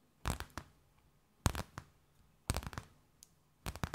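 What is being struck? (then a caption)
Thin clear plastic bag. A thin, empty, clear plastic bag held between both hands is tapped, scratched and crinkled with long nails. Four short clusters of crisp, crackling taps come at uneven intervals, each a quick run of sharp bursts spanning low thumps to bright rustle. Near-silent pauses separate the clusters.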